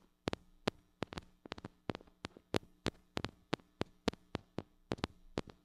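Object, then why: Small metal microphone with mesh grille. A small gold-colored mini microphone with a metal body, hollow head and metal mesh grille is held in one hand and tapped on the grille with long acrylic nails. About 22 sharp, dry clicks come in an irregular rhythm, each bright and dying away almost instantly, over a faint steady low hum.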